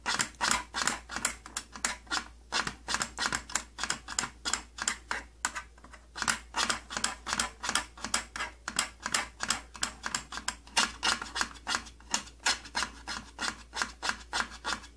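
Fingernails scratch the purple plastic side panel of an opened old plastic tattoo kit case, making a quick, uneven run of short, dry, bright scrapes, roughly three per second. Each stroke is crisp with almost no ring, and there is very little low end.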